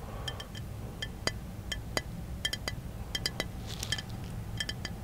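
Fingertips tap a small, hollow brown glass bottle held in one hand inside a car. An irregular run of short, light glassy clinks rings briefly with a pitch near 2 kHz and bright higher overtones, over a steady low rumble.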